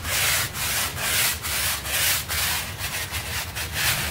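A stiff bristle hand brush scrubs a small pink textile rug covered in soapy foam, moving in long strokes. The result is a steady, bright, scratchy rasp that swells and briefly dips between strokes, with a faint low rumble underneath.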